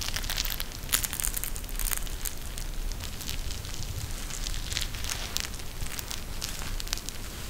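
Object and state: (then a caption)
Gel bead eye mask. A pink eye mask with fabric trim and a clear plastic shell filled with gel beads is held in both hands and squeezed by the fingers. It produces a steady run of dense, bright crackling and crinkling over a soft low rumble, with a few sharper snaps standing out.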